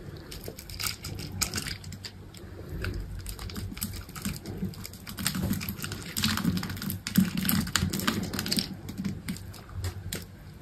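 A solid green bar of soap, scored in a grid and held in the hand, has small cubes scraped off it with a utility knife. The result is a steady run of irregular, crisp clicks and crumbly scrapes with bright, sharp edges over a soft low rumble, swelling louder in the middle before easing off.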